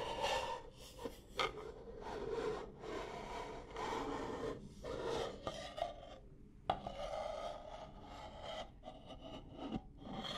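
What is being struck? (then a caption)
Stack of nested wooden bowls. A stack of nested, striped wooden salad bowls, hollow and empty, is held close and scratched and tapped with long nails on the outer surface. Steady dry raspy scratching, centered in the low mids around 500–750 Hz with some bright edge, is broken by several sharp, short taps that die away almost instantly.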